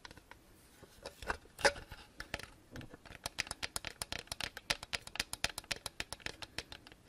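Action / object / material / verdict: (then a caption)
tap / gold-coated plastic cat figurine / plastic / none. A hand-sized, hollow, gold-coated plastic maneki-neko lucky cat figurine is held in the hands and tapped and scratched with long painted nails. Light scratching in the first seconds gives way to a rapid run of crisp, bright, clicky taps with almost no ring. The taps are quiet and close.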